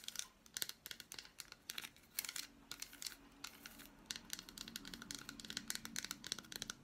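Long black nails tap and scratch across the squares of an unwrapped piece of solid milk chocolate bar with fruit pieces. Quick, dry, high-pitched clicks and scraping rasps come in dense bursts, each hit dying away almost instantly.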